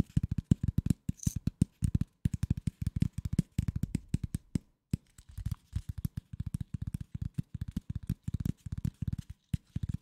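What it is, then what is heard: Corrugated cardboard sheet tapped. A flat brown corrugated cardboard piece, about 40 cm across and held horizontally, is scratched and tapped with fingertips and nails. Rapid bursts of short, dry, low-pitched taps follow one another with brief pauses between clusters, each tap dying away almost instantly.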